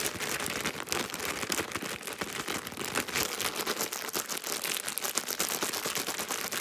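A full, soft plastic-film Huggies wipes pack is tapped, scratched and crinkled fast by long pink nails. The result is a dense, continuous stream of bright crackling and sharp clicks with almost no low end.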